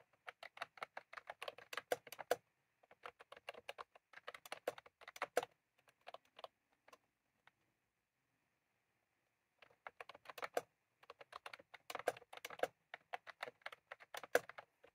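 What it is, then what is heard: Plastic round-key keyboard being typed on. Fingertips type on a white/cream plastic retro keyboard with round keycaps, with a small clip microphone lying on the keys untouched. Bursts of rapid, crisp plastic key clicks are heard, thinning to a few scattered taps and a quiet pause in the middle before a steady flurry of typing resumes. Each click is short and dry, with almost no ring.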